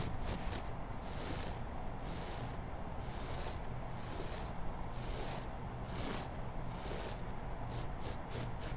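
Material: Nothing is struck.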